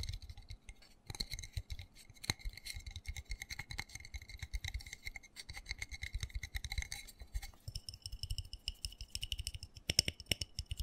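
Fingernails rapidly tap and scratch the patterned side of a small black textured plastic flower pot holding soil and a cactus, then move to its underside. The result is a dense run of quick, dry clicks and scrapes with bright edges and soft low thumps. The tone shifts higher partway through, when the nails move to the underside.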